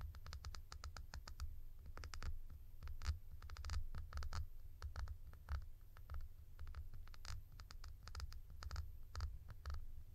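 A tall, hollow blue plastic cap is tilted in the hand and tapped and scratched with long nails on its side and textured top. The result is a rapid, irregular run of short, crisp clicks and scratchy strokes with bright, dry edges that die away almost instantly, over a steady low hum.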